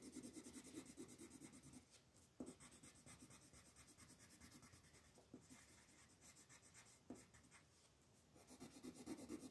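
A wooden colored pencil makes short rubbing strokes on a flat white paper mandala coloring sheet held by fingertips. The result is a quiet, steady scratchy rub with a soft low-mid body and a faint bright hiss, broken by a few sharper ticks where strokes begin.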